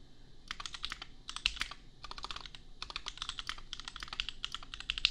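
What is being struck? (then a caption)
Mechanical keyboard with plastic keycaps. Fingertips of both hands type on a compact $250 custom mechanical keyboard with Gateron Milky Yellow switches and red/pink plastic keycaps. Quick bursts of bright, crisp plastic clacks run in short flurries, separated by brief pauses. Each keystroke stops dead with almost no ring.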